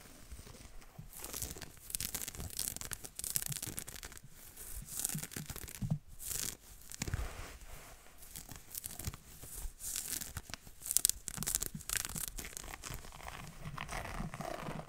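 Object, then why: Knit fabric sweater. Dark-painted fingernails of both hands scratch fast at a green ribbed knit jumper of soft fabric worn on the torso, in front of a foam-covered mic. It makes quiet, rapid, bright scratching and rustling bursts with a soft low rumble underneath, the strokes running together in uneven waves.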